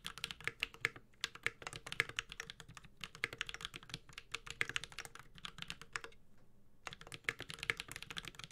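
Bare fingertips type rapid key taps on a Space65 Cybervoyager 65% mechanical keyboard with a white-gold metal case, GMK ABS plastic keycaps, a carbon fiber plate and Holy Panda tactile switches, resting on a solid desk. The quick, bright, clacky clicks come in dense bursts with almost no ring. A short pause just past six seconds is followed by another run of typing.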